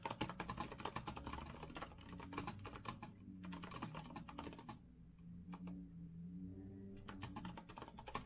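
Fingertips of both hands type fast on an Azio rose-gold metal-frame mechanical keyboard with round backlit keycaps on a wooden desk, producing dense bursts of sharp, clicky keystrokes. The typing stops briefly partway through, leaving a steady low hum, then resumes near the end.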